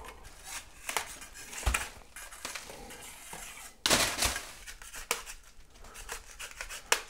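A hand-held metal scraper blade scrapes flaking, peeling paint off a solid plaster or drywall bedroom ceiling. The sound is a bright, dry rasping with irregular short scratchy strokes and occasional sharper clicks and louder scrapes as paint flakes break away.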